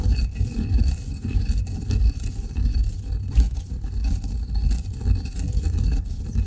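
A granite pestle grinds fine coffee grounds in a granite mortar, making a steady low, rumbling scrape. The gritty grinding rises and falls unevenly throughout, with almost all of its energy deep in the low range.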